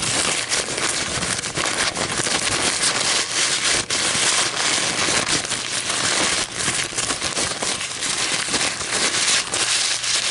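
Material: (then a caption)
Paper. An empty white paper coffee filter, folded and crumpled, is held up and squeezed and crinkled between fingers with long nails. It gives a steady, dense, bright crinkling and crackling that runs without pause for about ten seconds, with only a few brief dips in level.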